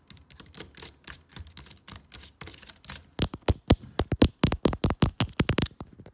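Long fake nails tap and type rapidly on the plastic keys of a MacBook laptop keyboard set in an aluminium body. Soft, dense clicks with a low thud in the first half give way, after about three seconds, to louder, sharper and brighter clacks, each dying away almost at once.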